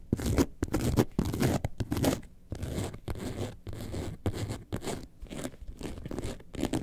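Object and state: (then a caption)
Faux leather bag scratched with nails. Long nails scratch the front and the top near the zipper band of an upright faux leather bag shaped like a lemonade carton. The result is a run of uneven, rasping scratch strokes with a dry, gritty texture and a low, rubbing body under a brighter hiss, stopping and restarting in short bursts.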